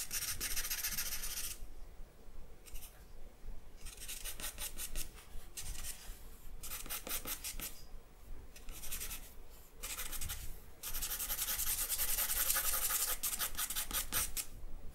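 A charcoal stick is scratched and dragged across white drawing paper on a black backing in shading strokes. Bursts of dry, bright, rasping scratches come in irregular runs separated by short quiet pauses, ending in a longer, denser stretch of quick back-and-forth strokes.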